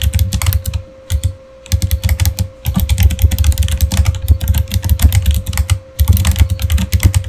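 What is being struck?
Plastic computer keyboard.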